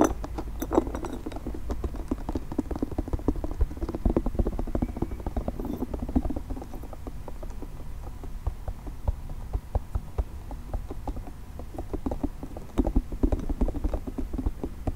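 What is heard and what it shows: Fingernails tap and scratch rapidly over a multicolored, nubby soft plastic spiky ball. The result is a dense, continuous patter of short, dry clicks with a low, muffled body and little brightness.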